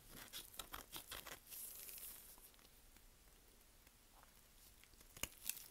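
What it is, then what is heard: Dry soap bar being carved. A small curved knife held in gloved hands cuts and scrapes crumbly chips off a solid, dry, partly carved green "Green Tea" soap bar from Svoboda. A quick run of crisp, bright crunches and crackles fills the first couple of seconds, then fades to a soft, quiet scrape before two sharp crunches near the end.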